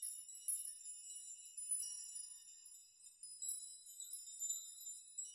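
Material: Metal.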